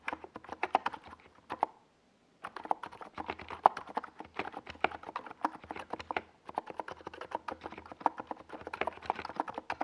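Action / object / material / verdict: tap / plastic mechanical keyboard with tall plastic keycaps / plastic / none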